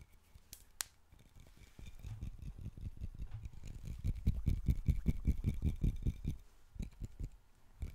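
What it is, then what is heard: Glass wine bottle tapped. Fingertips and nails rapidly tap and scratch the glass body and neck of a dark glass wine bottle with a white capsule top and a label, held in both hands and apparently hollow, possibly empty. The quick, uneven taps sound as low, dull thumps with faint bright scratchy clicks, growing louder after a quiet start and easing off near the end.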